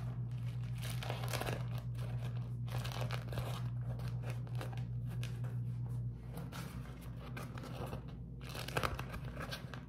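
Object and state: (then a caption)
Beeswax-coated cotton food wrap. A beeswax-coated cotton food wrap is folded and scrunched in the hands, producing irregular bursts of dry, bright crinkling and crackling. A steady low hum runs underneath and drops away after about six seconds, while the crinkling continues to the end.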